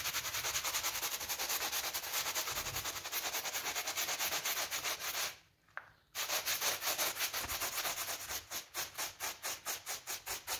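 A small blue brush held in a gloved hand rapidly scrubs a pink PVC coil door mat with a flower pattern, making a fast, steady run of bright, hissy scratching strokes. The scrubbing stops briefly just past the midpoint, then resumes, with the strokes turning more distinct and evenly spaced toward the end.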